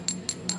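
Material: Ceramic.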